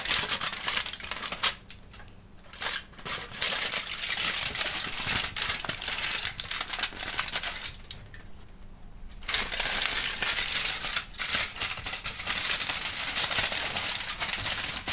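A thin, crumpled sheet of aluminum foil, formed into a hollow, loose bundle, is crinkled and crumpled by bare fingertips and palms while a kitten watches nearby without touching it. The result is dense, bright, crackling rustles with brief quieter pauses around two seconds and eight to nine seconds in.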